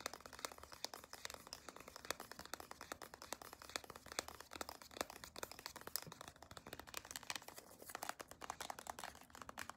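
Long decorated acrylic nails tap and click on a small, white-and-blue CeraVe moisturizing cream squeeze tube made of soft plastic, held in the hand. A rapid, steady stream of quiet, sharp, bright clicks runs throughout, each with almost no ring, over a faint crinkling rustle of the plastic.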